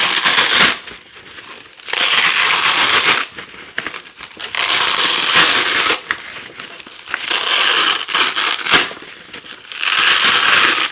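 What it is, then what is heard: Nylon hook-and-loop (velcro) strip. Fingers with long nails pull apart and press together thin fabric strips of nylon hook-and-loop, an orange hook side and a yellow loop side. Repeated loud, bright, crackling rips alternate with quieter stretches of soft crinkling as the strips are pressed back down.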